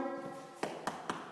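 A bare masonry wall is tapped four times, each tap a short, dull knock with little ring and no hollow resonance. The solid sound shows the wall has no plasterboard and no insulation behind it.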